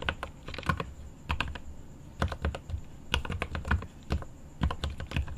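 Fingertips type on the plastic keycaps of a mechanical keyboard with an aluminum case. The keystrokes come in quick irregular bursts with pauses between, each a short dry tap with a low, thocky body and a bright click on top, over a faint steady high tone.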